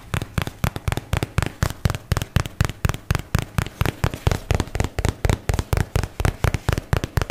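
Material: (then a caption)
Paperboard. A fingertip and nail tap on the faces of a white and teal paperboard product box held close in front of the face and microphone. Around 35 short, dry, hollow taps come in a quick but uneven rhythm of roughly two per second, each a dull low thud with almost no ring and little brightness.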